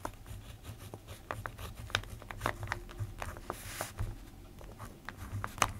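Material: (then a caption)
Paper. A plastic ballpoint pen scratches while writing on the page of an open paper notebook. Short, dry scratchy strokes and bright little ticks come one after another over a faint, steady low hum.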